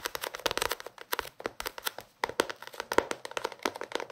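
A small paperback book with a paper cover is held in both hands while fingertips and nails scratch and tap its cover and page edges. The result is a quick, uneven run of dry, crinkly paper taps and scratches with a bright, papery edge. The taps die away almost instantly, with a short quiet gap near the two-second mark.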